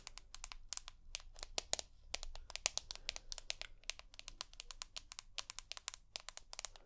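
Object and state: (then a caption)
Glass-backed smartphone tapped with nails. Long nails tap rapidly across the glass back and aluminium side edge of an iPhone, making an irregular run of sharp, bright clicks. Each tap dies away almost instantly, with no ring, over a faint low background hum.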